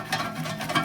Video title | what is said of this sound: Part 4 - Savings Plan Reset - BiAnnual Count Up - Designating Challenges | shake it and you hear it. That is already money in there